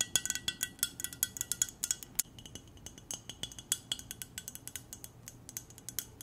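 Long nails tap the side and rim of an empty-looking, hollow clear glass mug with silver decoration in a quick, uneven run of light taps. Each tap gives a bright, high glassy clink that dies away almost at once, with little low-end body. The taps grow softer and denser after the opening second or two.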